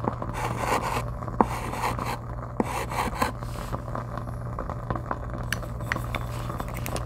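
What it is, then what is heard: Chalk scraping on a chalkboard. A white chalk stick is drawn across a flat dark chalkboard in writing and scraping strokes, picked up by a lavalier mic held still against the board. The result is a steady dry scratching and rubbing texture with short sharp ticks. A constant low hum runs underneath.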